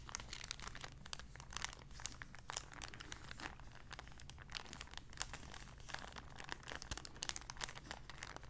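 A small, empty, clear plastic zip-lock bag is folded and crinkled between the fingers. It makes a steady run of quiet, bright, crackly crinkles with short sharp snaps. A low, even hum sits underneath throughout.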